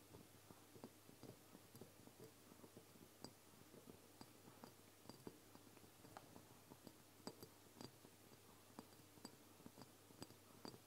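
Fingertips and long nails of both hands tap the sides of a medium, apparently filled amber glass oil bottle with a black plastic dropper cap, standing upright on a wooden table. Quiet, irregular clicky taps sound over a low background hiss, each short and dry with a faint bright glassy tick and no ring.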